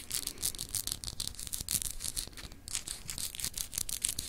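A palm-sized solid clear glass globe paperweight with a textured etched surface, held in one hand, is rapidly scratched by long acrylic nails. The result is a dense run of quick, bright, crisp scratching strokes with a faint low rumble underneath.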